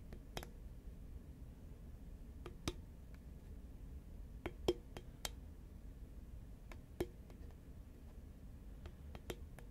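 Long fingernails tap a hollow, green Pringles paperboard tube held upright with its plastic lid on. Short, dry clicks fall at an irregular, unhurried pace, each with a faint hollow tone near 355 Hz and a sharp bright tick. They die away almost instantly over a steady low rumble.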